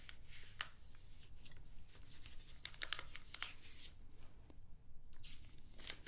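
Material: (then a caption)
Paper. A pink makeup brush sweeps across the pages of an open glossy paper magazine lying flat, and a hand smooths the paper, with one page turned. Soft brushing and crisp crinkling rustles give bright, short ticks and swishes over a quiet, low background hum.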